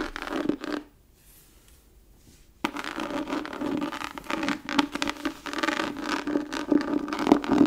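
Long nails scratch the raised pattern of a tooled, embossed leather book cover held close, making dry, rasping scratches with a faint low hum near 290 Hz. After a short burst, there is a near-silent pause of about two seconds. Then a dense, uneven run of scratching follows that grows slightly louder toward the end.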